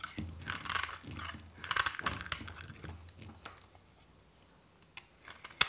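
A solid white dry soap bar is held in the hand and scraped and shaved with a metal knife blade, with flakes falling away. Bright, dry crunching scrapes come in quick bursts over the first few seconds, then fade to quieter faint scratches, ending with a sharp click.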